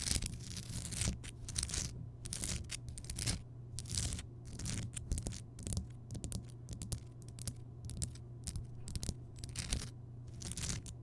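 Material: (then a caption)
Rock salt. Fingertips and long nails tap and scratch the rough surface of a large, solid, lit Himalayan rock salt lamp, heard up close. Bursts of bright, crackly scratching and short taps come in irregular clusters. Underneath them runs a steady low hum.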